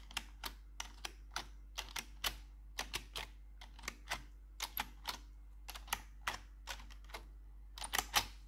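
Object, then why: Plastic computer keyboard keys. A gloved hand with metal claw nails taps the keycaps of a black plastic RGB computer keyboard. About 25 sharp, bright clicks come in an uneven rhythm over a steady low hum, each one dying out almost at once.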